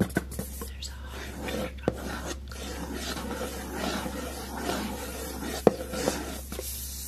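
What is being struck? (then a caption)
Textured cardboard notebook cover. Fingertips and short nails scratch and rub across the dark, textured cardboard cover of a flat, solid hardcover notebook with a red heart printed "LOVE" and a gold lace border. A steady dry rasp runs throughout, broken by a few sharp tapping clicks and underlaid by a constant low hum.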